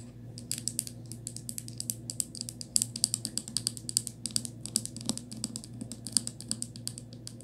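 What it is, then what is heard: Plastic toothpaste tube. Long acrylic nails tap and scratch a small white plastic Crest toothpaste tube and its ribbed plastic cap, held on a quilted fabric. A rapid, uneven series of crisp, bright clicks and short scratchy ticks runs over a steady low hum, each tap dying away almost instantly.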